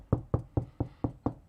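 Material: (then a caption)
Drywall. Knocking along a sheetrock (drywall) ceiling damaged by an attic leak to find a joist before cutting: seven separate low, dull knocks with a short ring. The spot sounds hollow, falling between joists, which is where the cut is started.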